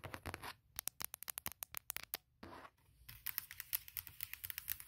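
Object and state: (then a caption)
Aluminum laptop lid. Long nails tap rapidly on the aluminum lid of a closed MacBook Pro, making about thirty quiet, sharp, bright clicks that stop almost instantly. Short scratchy hiss bursts break in near the start and in the middle, between the runs of taps.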